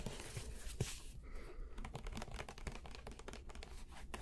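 A medium white Elmer's plastic glue bottle with an orange cap is tapped and scratched by fingertips on the bottle and its label, close to the microphones. Quick, soft taps and scratchy crinkles blend over a steady low rumble, with one sharper tap standing out near the start.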